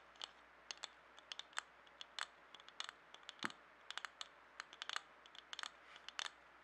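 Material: Glass.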